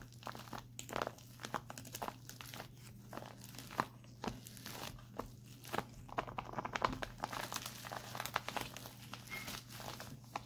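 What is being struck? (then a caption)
Plastic cold pack. Fingertips with short painted nails tap and scratch across a full, soft, crinkly flat white printed plastic instant cold pack lying on a lap. Quick, sharp plastic crinkles and clicky taps come in uneven bursts over a faint steady low hum.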